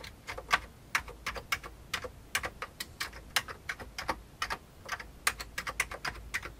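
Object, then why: Plastic computer keyboard. Fingertips of both hands type steadily on the keys of a full-size old beige plastic computer keyboard with a hollow plastic case. The result is a quick, uneven stream of short, sharp clicks with a bright, hollow plastic clatter, each key strike dying away almost instantly, with little low-end body.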